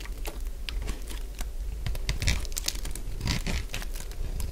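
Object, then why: Bar of soap scraped with a metal blade. A solid purple bar of dry soap is scraped with a metal blade into flakes, giving a run of short, dry crunching and crinkling scrapes with bright, crisp edges over a steady low rumble. The strokes come in quick, uneven bursts, some louder than others, and each dies away almost immediately.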